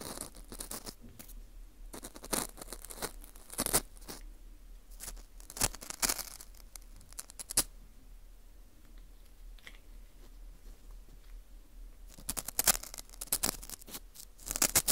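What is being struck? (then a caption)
Dried wheat gluten ring (fu) scraped with metal tweezers. Metal tweezers scrape inside the hole of a dry, porous dried wheat gluten ring (fu) held in a gloved hand. The result is bursts of bright, crisp scratching and crunching, with a quieter stretch in the middle before the scraping picks up again toward the end.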